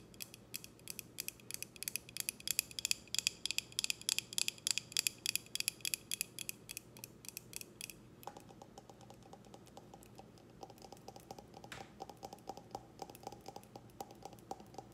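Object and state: Glass tumbler.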